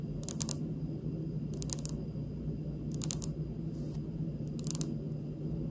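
Long pink almond-shaped nail tips tap on a large, solid, polished, speckled granite stone countertop close to the camera. Four short bursts of quick, bright clicking taps land evenly over a steady low hum, each tap dying away almost instantly with no ring.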